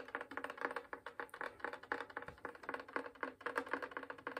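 The top of a full-size wooden violin, a hollow body of varnished spruce and maple held upright, is tapped near the fingerboard with dark-painted fingernails and fingertips. About 27 quick, dry, hollow wooden taps come in an uneven, fairly rapid rhythm. Each has a woody midrange tone and dies away almost at once, all at a soft level.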